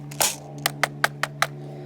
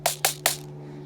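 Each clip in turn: First: hard plastic rifle body, sounds hard and solid. Second: plastic airsoft rifle body with magazine in, cheap-sounding knock.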